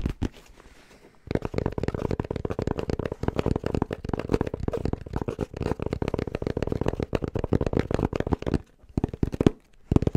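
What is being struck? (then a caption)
Fabric-covered hard-shell headphone case. Fingertips tap rapidly on a black, rounded, fabric-covered hard-shell headphone case that is hollow inside. After a quiet start, a dense stream of fast, dull, hollow taps with a low-mid body follows, each dying away almost instantly. Brief pauses break up the tapping near the end.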